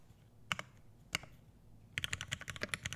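Fingertips of both hands type on an Iron180 80% mechanical keyboard with an aluminum case, brass plate, lubed Hyperglide Black switches and PBT keycaps, resting on a desk mat. About a dozen short, bright clacks sound: two isolated pairs of keystrokes, then a quick run of typing. Each press has a solid low thock beneath it.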